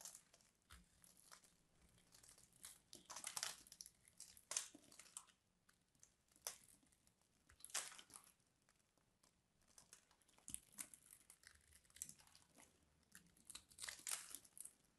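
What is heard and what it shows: A craft knife scores a grid into a solid blue-purple embossed bar of soap, and the small cubes crumble off under the fingertips. Quiet, dry crunching and scratching come in irregular bursts, bright and high with almost no low end. Each crackle stops almost at once.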